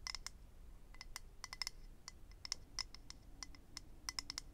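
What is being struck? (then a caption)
Small clear acrylic case. A small, hollow, rectangular clear plastic/acrylic eyelash case is held in the hand and tapped and scratched with nails. About twenty sharp, bright clicks come in irregular clusters, each with a high, glassy ping that dies away almost at once. A faint low rumble sits underneath.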